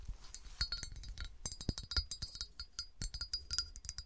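Long nails tap and scratch the sides of a clear, hollow cut glass bottle with a diamond pattern and a smooth window, standing upright and apparently empty. About two dozen quick, irregular glassy clinks ring bright and high over soft low thumps and brief scratchy rasps, each dying away almost instantly.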